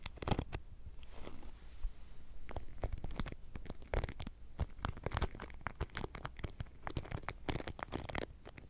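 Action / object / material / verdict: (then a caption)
scrape / wooden paddle hairbrush with plastic pin bristles / plastic / none. A wooden-frame paddle hairbrush with a rubber cushion and plastic pin bristles is held by the handle near the mic while long nails and fingertips repeatedly scratch across the bristles. The result is a steady run of quick, dry, crackly scratches with a soft low rumble underneath, each stroke dying away almost instantly.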